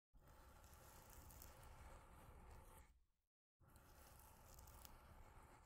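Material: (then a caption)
Cardboard. Long nails scratch along the top edges of a solid, long block of stacked corrugated cardboard, like a scratcher, making a dense, rough scraping with steady low rumble and faint bright fizz. The scratching fades out near three seconds, stops for a brief silence, then resumes at the same steady intensity.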